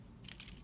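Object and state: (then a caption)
Dry dead leaf. A dry, dead brown leaf that fell off a tree is crushed in the hand. It gives a brief, crispy crackling crunch with bright high-frequency bursts, and about three quick crackles are heard. The leaf has no food left inside it, which is why it turned brown and dropped.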